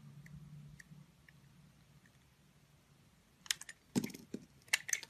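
A box cutter blade slices thin curls off the surface of a solid, hand-sized pink oval soap bar with embossed lettering, held in a hand with long nails. After a faint low hum and soft ticks, a burst of short, bright, crisp scraping clicks and crunchy cuts is heard.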